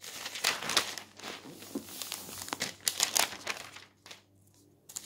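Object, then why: Newsprint newspaper. A newsprint newspaper lies flat on a table while a palm rubs the page smooth, then fingers turn its thin sheets. Bright, crinkly rustles and papery swishes come in irregular bursts, falling to a near-silent pause before one last rustle at the end.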